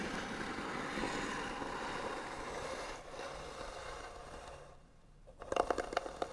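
Long nails scratch back and forth across the lid of a small hollow white painted wooden box, making a steady, dry, broadband rasp that fades briefly before a short lull near five seconds. The clip ends with a burst of sharper, brighter scratches and clicks that ring with a slight hollow tone.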